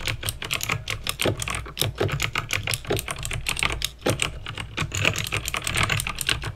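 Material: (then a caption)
Plastic. Fingertips with painted nails type fast on a backlit plastic mechanical keyboard with clicky green switches. The result is a rapid, steady stream of sharp, bright clicks over a low, hollow thud from the keys bottoming out.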